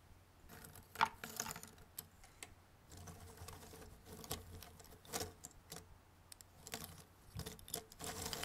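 Fingertips sweep, gather and rummage through loose, thin cardboard jigsaw puzzle pieces, some in a white box and some on a red table. Soft, dry rustling and scraping is broken by many quick, light clicks and taps, with a sharper bright click near the start.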